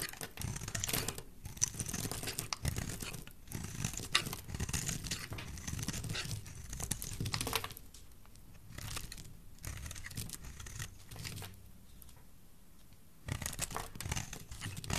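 A solid oval bar of dry green soap, held in the hand, is shaved with a metal utility knife blade. Dense, crisp scraping and crumbly crunching fill the first half, then the strokes thin into softer, quieter scrapes before a burst of sharper cutting returns at the end.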